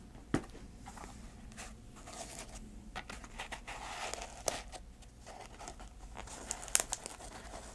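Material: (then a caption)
Canvas. Long nails scratch the canvas and velcro straps of a small, empty grey canvas shoe with a white rubber sole, held in the hands. The result is a quiet, continuous dry scratching and crinkling texture, broken by a few sharp, bright clicks.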